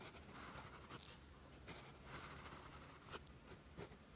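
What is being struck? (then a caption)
Steel pen nib on a paper sheet. A steel fountain pen nib scratches across a flat sheet of lined writing paper, writing Korean characters in green ink. Soft, continuous scratching comes through with brief bright ticks and strokes as the nib moves.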